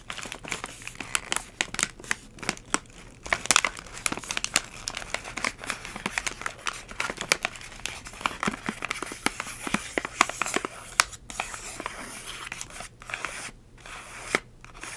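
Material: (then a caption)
Plastic foil. Long pink acrylic nails tap and crinkle a hand-sized, partly filled purple Halls Breezers resealable plastic and foil pouch. Dense, bright crackles and sharp taps run continuously over about 15 seconds with almost no low end. A few brief quiet gaps break the texture near the end.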